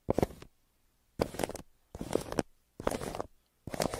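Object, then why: Pencil on a kraft paper mailer. A yellow pencil scratches and shades across the surface of a brown kraft paper mailer lying flat. Five separate bursts of dry, papery scratching are heard, each about half a second long with quiet gaps between them, centred in the midrange with some bright grain.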